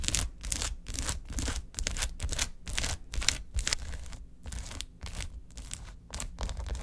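Long acrylic nails quickly tap and scratch across the many filled cells of a large, flat, silver foil-laminated plastic gel ice pack lying on a table. Repeated bright, crinkly scratching bursts sit over a low rumble, in irregular fast strokes about twice a second.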